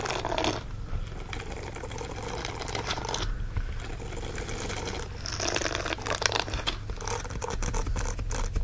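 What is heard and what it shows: Fingernails scratch the bristle palm of a green silicone dish-scrubbing glove, producing a steady dry, crackly scratching with brief pauses. Beneath it runs a constant low hum.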